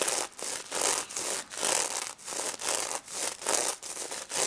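Fingernails brush and rub back and forth across the plastic reversible sequins covering a pink stuffed plush pig toy, flipping them. The result is a steady series of bright, hissy scratching strokes that swell and fade in a loose rhythm, with almost no low end.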